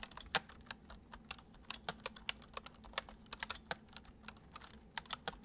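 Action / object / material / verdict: tap / plastic computer keyboard / plastic / none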